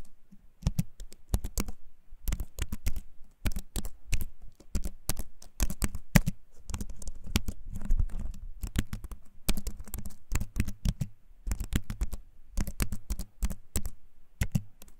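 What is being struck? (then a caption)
Keyboard with wooden frame and plastic keys. A compact keyboard with a wooden frame and plastic keys, held up close, is typed on with fingertips. Its clicky keycaps give bursts of short, dry taps in uneven runs with brief pauses, and each tap dies away almost at once. The taps carry a low, thumpy body around 180 Hz.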